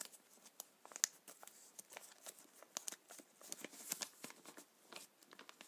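Fingertips and a palm rub, squeeze and scratch a black plastic bag full of paintballs lying on a table, making the balls shift inside. The result is a quiet, steady run of bright, dry crinkling and crackling with many short clicks and no low end.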